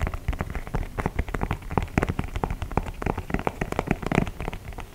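Fingertips tap and scratch the perforated leather toe and upper of an empty white leather low-top sneaker held in one hand. The result is a dense, rapid run of soft, dull taps and scratchy rustles, mostly low in tone, with each hit dying away almost at once.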